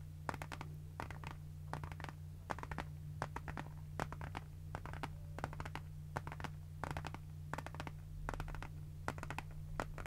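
Long nails tap and scratch across the surface of a closed pink rectangular zippered pencil case made of faux synthetic leather with a bunny print. Quick clusters of dry, bright clicks repeat steadily with very short ring. A constant low hum sits underneath.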